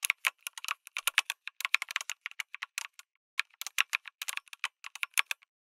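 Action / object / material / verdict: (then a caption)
tap / mechanical keyboard with plastic keycaps / plastic / none. Fingertips type rapidly on a backlit mechanical keyboard with a white case and red and grey plastic keycaps. The result is a fast run of short, dry, bright clacks with no low end, pausing briefly around the three-second mark before the typing resumes.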